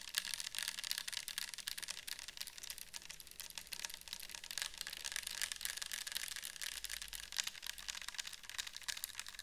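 Long nails tap and scratch a clear plastic bottle with a white cap, mostly full of orange liquid, held in the hands. Quick, irregular, dry taps blend with a continuous scratching hiss, mostly high and bright with little low end. The sound stays quiet and steady throughout.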